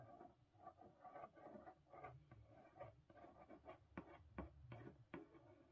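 A closed, hollow, likely empty medium-sized blue printed corrugated cardboard Book of the Month shipping box is tapped and scratched with long painted nails and the fingertips of both hands. About ten soft, irregular taps with dull low thuds rise over a quiet, continuous scratchy rubbing.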